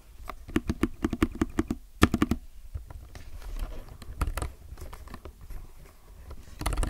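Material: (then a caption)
Plastic. A low-profile mechanical keyboard with plastic keycaps is typed on fast with the fingertips of both hands, close up. Quick bursts of clacky keystrokes come through, each one a short, dull tap with a low thud underneath, briefly pausing before another flurry.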